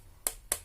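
Two quick taps on the plastic central part of a 40-euro aluminium camera tripod give short, bright, hollow clicks with almost no ring. The plastic sounds hollow and cheap, poor quality though expected for the price.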